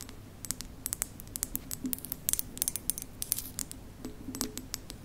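Long nails tap and scratch the body of a hollow, white printed ceramic mug with a lid, held by its handle. About thirty sharp, bright clicks and brief scrapes come in an uneven rhythm, each dying away at once over a faint low hum.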